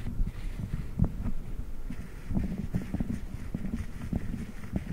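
A blue silicone spiked massage pad is bent over a microphone grille while fingertips of both hands squeeze and rub it with slow, pulsing presses. The result is a deep, muffled thumping and rubbing, mostly low-pitched, with soft rhythmic throbs.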